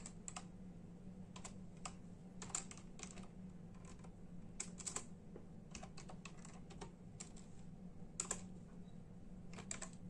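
Bare fingertips of both hands type in a steady tapping on a full-size black and silver plastic membrane keyboard with hollow keys. The keystrokes come as quick, bright, hollow clicks with occasional louder presses over a constant low hum.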